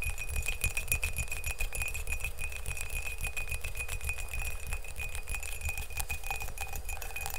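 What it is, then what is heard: Ceramic mug. Fingernails tap rapidly on the outer wall of an empty glazed ceramic mug held in both hands. The taps form a dense, continuous stream of short, bright clicks with a steady ring near 2.5 kHz, over a strong low rumble.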